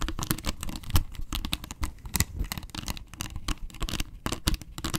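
Long nails scratch across the face and rim of a round, hollow yellow plastic box lid. The result is a dense run of quick, dry scraping strokes with a hollow low thump under bright, crackly hiss.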